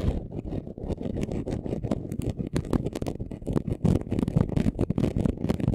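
Short nails scratch quickly across a flat, chunky gold glitter craft sheet. The result is a dense run of rapid, gritty scratches with a heavy low body and bright, crackly streaks, getting slightly louder toward the end.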